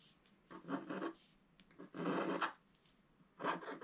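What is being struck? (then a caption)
Scratch-art paper sheet scratched with a wooden stylus. A wooden stylus scratches strokes across the sky area of a flat, black-coated scratch-art paper sheet while the other hand holds the sheet. Three dry, raspy scratching strokes are heard, separated by quiet pauses, with a papery rubbing texture concentrated in the midrange.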